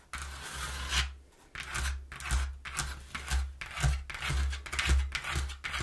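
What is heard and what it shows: Long nails tap and scratch the inside panel of a partly folded, empty, hollow brown corrugated cardboard box. The result is a quick run of rough, bright scraping strokes over a steady low, hollow thrum from the box.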